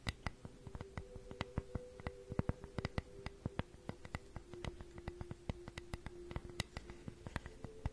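Long nails tap and scratch along the grooves of a flat, solid wooden flower cutout held up close to a microphone. The result is a quick, uneven run of sharp, dry clicks over a soft, steady low hum.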